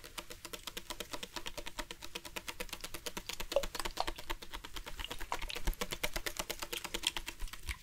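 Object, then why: Plastic sports water bottle. Fingertips and nails tap rapidly on the body of a dark plastic sports water bottle with a loop cap, hollow and partly filled with water. The result is a fast, uneven stream of crisp, clicky taps with a hollow tone and bright edges, each dying away almost instantly.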